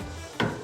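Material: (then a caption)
Steel. A hand slaps the solid steel roof rack and bed bar on a Toyota Revo pickup at a motor show, giving a dull, hard thud with a short metallic ring that is followed by a second, softer hit. The rack is pure steel, very hard and strong enough to carry accessories, a roof tent or a person sitting on it.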